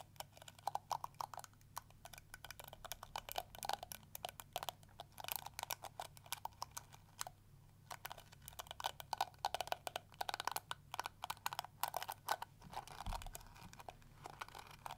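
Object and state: Plastic detangling brush.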